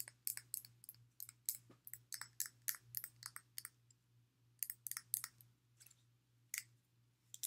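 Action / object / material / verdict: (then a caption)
tap / partly filled glass water bottle / glass / none. Long nails tap on the body and near the cork cap of a clear glass water bottle, partly filled with water, with a blue sleeve. A quick, irregular series of sharp, bright, clicky taps dies away almost instantly, some landing in tight clusters and others spaced apart, with a faint steady low hum underneath.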